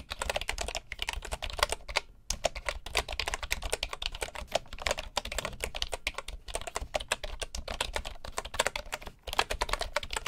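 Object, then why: Bamboo wooden computer keyboard. Fingertips of both hands type on a full-size bamboo wooden computer keyboard. A fast, steady stream of short, bright clicking key taps runs throughout, pausing only briefly near 1, 2 and 9 seconds, over a faint low hum.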